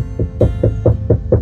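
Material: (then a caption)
Canvas. A stretched painting canvas on a wooden stretcher, sitting on an easel after its wooden canvas keys (wedges) were pushed into the corners by hand, is tapped six times in a steady rhythm. Each tap gives a short, low, drum-like thump centered near 109 Hz that dies away almost at once. The canvas sounds much tighter and more taut than before.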